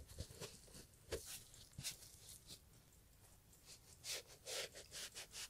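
A gloved hand holds a brown Italian leather loafer while a small green sponge rubs its upper in about nine short, uneven strokes. Each stroke makes a bright, hissy scuff with a faint low thump at the start. The strokes are quiet and irregular, with a softer pause in the middle and denser rubbing toward the end.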